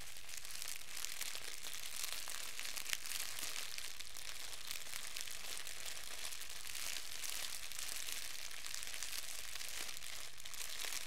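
A fist-sized wad of thin clear plastic wrap is held in both hands and crumpled and squeezed with the fingertips. It makes a steady, dense stream of bright, crisp crinkling and crackling at a quiet, even level. It has a low constant hum underneath.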